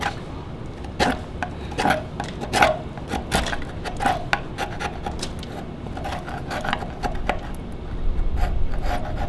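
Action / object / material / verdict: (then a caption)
scrape / debarked wooden log scraped with a steel chisel / wood / none. Gloved hands scrape a steel chisel along the bare wood surface of a large, solid debarked wooden log. Irregular rasping, rubbing strokes carry a faint midrange ring near 650 Hz over a steady low rumble, with sharp bright clicks at the start of some strokes.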